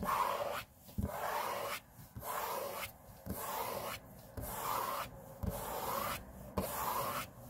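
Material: Laminate.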